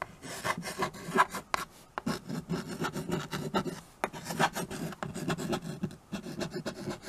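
White chalk held in the fingers writes across a small handheld chalkboard with a wooden frame. It makes a steady run of short, dry, raspy scratching strokes, with brief pauses between them and occasional faint squeaks near 1 kHz.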